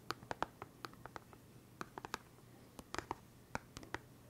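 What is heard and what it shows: A small, hollow, clear plastic case full of felt-tip pens is held in one hand and tapped and scratched with fingertips and nails. Around eighteen quiet, dry, sharp clicks and ticks land in irregular clusters, each with a hollow plastic tone near 900 Hz that stops almost instantly. A faint, steady low hum sits underneath.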